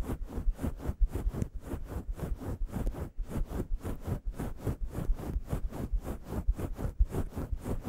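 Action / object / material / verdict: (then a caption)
scrape / synthetic fur microphone windscreen / synthetic fur / none. Long yellow nails scratch a grey, fluffy synthetic-fur windscreen on a microphone in staggered strokes. The result is a steady run of soft, muffled scratching and rustling bursts, heavy in low rumble with airy hiss on top, each stroke dying away almost at once.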